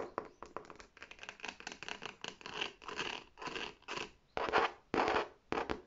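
Long nails scratch and rub the smooth front panel of a large, hollow red faux leather tote bag with an embossed tab. Quick, dry scratching strokes come in an uneven rhythm, starting as short sharp scrapes and stretching into longer rasping swells. The sound is bright and papery, with almost no low end.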